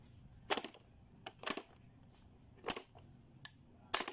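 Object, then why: Hard plastic pop-up toy with switches and spring doors. Fingertips push the plastic switches on a blue, hollow, hard-plastic Playskool pop-up learning toy, and its doors spring up and are pressed closed. The result is a series of sharp, bright plastic clicks and snaps in quick clusters, each dying away almost at once over a quiet background.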